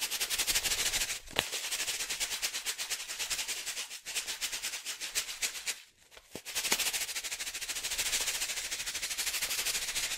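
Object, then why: Foil-laminate coffee pouch with coffee. A foil-laminate coffee pouch filled with coffee is held in both hands and shaken rapidly back and forth. It gives a dense, bright, crinkling rattle of fast repeated rustles, with brief pauses near two, four and six seconds before the shaking resumes.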